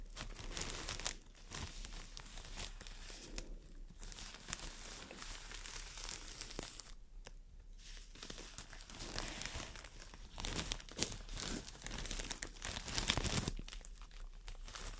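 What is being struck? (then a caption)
Floral foam brick wrapped in thin plastic film. A solid, brick-sized green floral foam block wrapped in thin clear plastic is scratched and squeezed by long dark nails. The wrap gives off steady, irregular crinkling and crackling with bright, papery texture and brief louder crunches, in a small indoor space.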